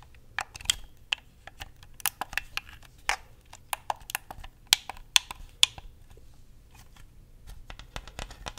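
Fingernails tap and click on the buttons and hollow shell of a hand-sized white plastic Xbox controller. About 17 sharp, dry, bright clicks come at an irregular pace, with almost no ring. The clicks cluster more densely in the first half and grow softer and busier toward the end.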